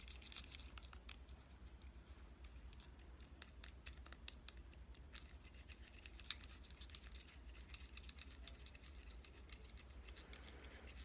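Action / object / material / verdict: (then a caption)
tap / compact digital camera, metal and plastic body / metal and plastic / none. A red compact digital camera with a metal and plastic body is held in the hand while its edges and back are tapped with fingernails. The result is quiet, irregular, rapid bright clicks and ticks, with a few sharper taps, over a steady low hum throughout.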